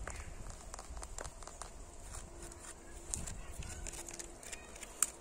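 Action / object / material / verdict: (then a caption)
tap / weathered brick wall / brick / none. Fingertips and nails tap and scratch the faces of a solid, weathered red brick wall with some whitewashed bricks. Soft, dry taps and gritty scratches come through over a low, rumbling background. A sharper, louder tap stands out near the end.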